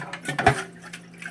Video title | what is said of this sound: Honda EZ1800 Generator Won't Start | this tank is definitely halfway filled. Hear the fuel sloshing around?